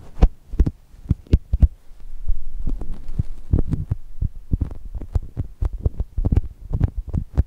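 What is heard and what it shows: Long nails tap and scratch the surface of a soft brown foam chocolate toast squishy. Short, dull, muffled thumps sit almost entirely in the low end with a faint steady hum beneath. Between them, a quieter scratchy rustle runs through the middle of the clip.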